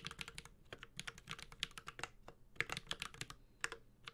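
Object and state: Mechanical keyboard being typed on.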